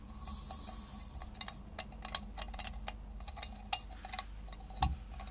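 A small galvanized tin milk can, hollow and apparently empty, with a wire handle and a small wooden grip, is tapped and scratched with long nails. Quick, bright metallic clicks and taps ring with a high, tinny tone over a soft scratching hiss and low hum. A louder, duller knock comes near the end.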